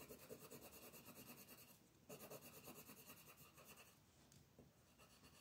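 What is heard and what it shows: A thin paper coloring book page lies flat on a wooden table while a colored pencil, held close to its tip, makes quick scribbling strokes to shade it. The pencil scratches across the paper in fast, rasping back-and-forth strokes, with a brief pause before the scribbling resumes.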